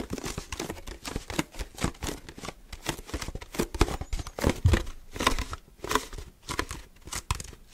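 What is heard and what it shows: Fingers grip, squeeze and tap the body and green plastic screw cap of an empty translucent HDPE milk bottle. The result is a fast, chaotic run of crinkling, crackling plastic mixed with short, dull, hollow taps that stop almost instantly.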